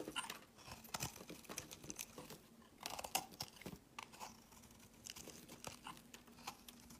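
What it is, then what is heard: Soap bar being shaved. A hand-held green rectangular solid soap bar is sliced into thin curled shavings with a metal utility blade. The cuts make repeated crisp, bright scraping crunches with short, dry endings, some louder than others. A faint steady low hum sits underneath.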